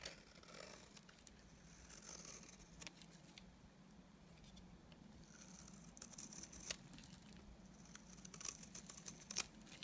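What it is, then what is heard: Bar soap being shaved. A utility knife blade shaves a solid, dry white bar of soap into flakes, making quiet, bright, crisp scraping and crackling sounds. Irregular sharp clicks grow louder and denser toward the end.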